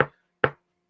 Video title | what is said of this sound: Fedora Friday #28: The Alamo (2004) | you will knock on that on that felt and you can hear the sound that it makes. It's quite robust.